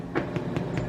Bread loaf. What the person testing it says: it sounds hollow. That's good. That means it's done.